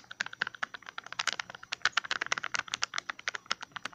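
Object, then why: Small plastic tub with ridged lid. A small, hollow green plastic tub with a ridged lid is held in the hand and tapped and scratched with fingertips and nails on the lid and rim. About 29 quick, dry, clicky taps come in an irregular, fast run, each ending at once with no ring. The sound is light and bright, centred around 1.4 kHz, with no low end.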